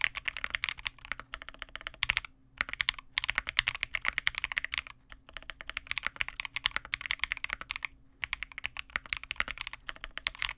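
A Vega65 custom 65% mechanical keyboard with re-lubed Cobalt switches, white plastic keycaps and a dark case is typed on continuously with both hands' fingertips. Rapid, bright, clacky keystrokes with very short decay come in dense bursts, broken by a few brief pauses.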